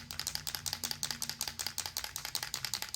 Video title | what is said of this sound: DIY Jean Vest: Foils & Stencils | shake this really well you want to hear that ball